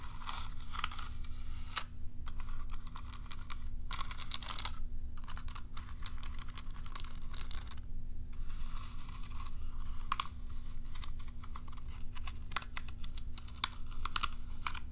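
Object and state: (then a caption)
Plastic cat self-groomer brush. Long nails flick and scratch the plastic bristles of a curved plastic cat self-groomer brush held upright. Rapid, dry, bright clicks and scratchy crackles come in uneven bursts over a steady low hum.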